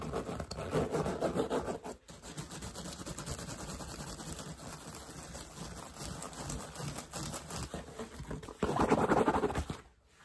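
Nails and fingertips scratch and rub the woven straw crown and brim of a wide-brim woven straw hat with a patch. The result is a fast, dry, crackly scratching texture, with louder bursts near the start and again toward the end before it stops.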